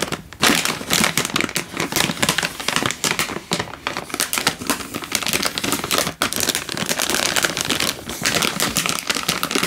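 A sealed, hand-sized plastic-film instant noodle packet, full with a dry noodle brick inside, is held in one hand and crinkled and squeezed with the fingertips. Dense, bright crackling crinkles run almost nonstop for about ten seconds. There are brief dips near the start and around six seconds.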